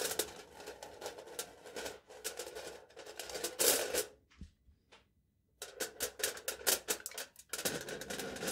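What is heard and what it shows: A knife tip taps repeatedly on aluminium foil stretched taut over a small hollow cup-like object, held upside down in one hand. Quick, bright, crackly ticks come in dense runs, pause into near-silence with a few faint taps, and then resume rapidly.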